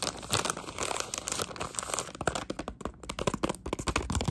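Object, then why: Plastic pouch of wrapped sweets. Long acrylic nails scratch and crinkle a Halls Defense plastic pouch holding cough drops. Dense, rapid crinkling fills the clip with a steady broadband rustle, broken by sharp, bright snaps and ticks that grow more separated and punchy in the second half.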